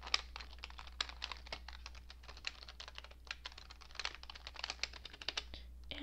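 Fingertips with long painted nails type on a cream-coloured plastic computer keyboard with hollow keycaps, producing a quick, steady run of light, bright key taps. Each tap is short and dry, with a faint low hum underneath throughout.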